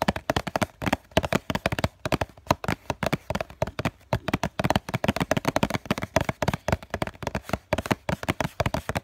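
A hollow COCON cardboard tissue box is tapped and scratched on its flat face with the fingertips and short nails of both hands. Rapid, dense, dry hollow taps with a papery resonance around 645 Hz fall in quick irregular bursts, mixed with soft scratching. Each tap dies away almost at once.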